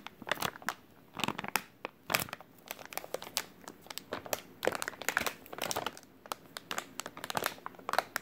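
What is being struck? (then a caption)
Soft plastic wet wipes pack. A full white soft plastic wet wipes package is squeezed and crinkled with fingers. This produces irregular bursts of bright, dry crinkling and crackling, separated by short quiet gaps, with almost no low end.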